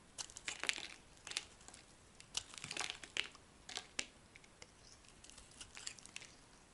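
A solid purple bar of soap held in the hand is scraped and carved with a metal utility blade, shaving off dry, crumbling flakes. Bright, crisp crackling and scraping bursts come in quick clusters, each one short and dry, with quiet pauses between strokes.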